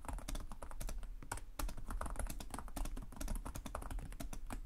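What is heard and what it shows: Fingertips of both hands tap rapidly on the low-profile plastic chiclet keys of a black laptop with a hollow body, typing continuously. The result is a dense stream of short, dry clicks and taps, each dying away almost at once over a steady low rumble.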